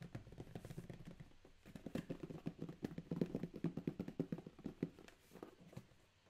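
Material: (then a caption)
Cardboard. A closed, medium corrugated cardboard shipping box for an Anker power bank, sealed with a green tape strip, is tapped and scratched with fingertips and short nails across its top and labels. Quick, dull, hollow taps with a low body mix with soft scratching, and the sound quiets near the end.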